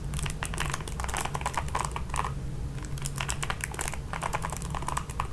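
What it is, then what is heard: Plastic paddle hairbrush with nylon bristles. Long pink nails repeatedly scratch and strum the nylon bristle pad of a red plastic paddle hairbrush. The result is a rapid stream of dry, bright ticks and crackles, like fast typing, over a steady low hum.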